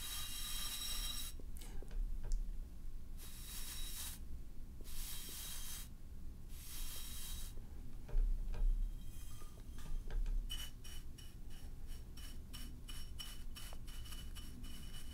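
A tall, hollow, black-and-white striped ceramic vase, held in one hand, is stroked with a bristle paint brush across its surface. Long, airy, bright brushing swishes come in bursts with quieter gaps, then give way to a run of quicker, shorter strokes, all over a steady low hum.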